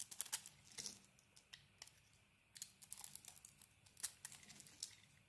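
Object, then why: Bar of soap. A metal utility blade carves a solid green-coated cream soap bar, peeling off flaky shavings. It makes quiet, bright, crisp crinkling and scraping sounds in a rapid series of short strokes, each dying away almost at once, with louder bursts scattered among softer ones.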